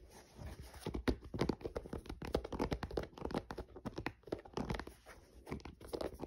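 Fingernails scratch the synthetic mesh side panel of a grey mesh running shoe, hollow and empty, while it is held and turned. Dense bursts of dry, crackling scratches rise and fall, mostly in the low and middle range with short, sharp attacks and almost no ring.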